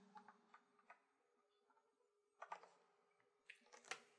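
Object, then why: Clear plastic compartment box holding thread bobbins. Long painted nails tap and click on the rim and front wall of a small, hollow, clear plastic compartment box used as a thread organizer and filled with embroidery floss bobbins. The light, dry clicks come at an irregular pace, with scattered taps early on and denser bursts toward the end. Each click dies away almost instantly.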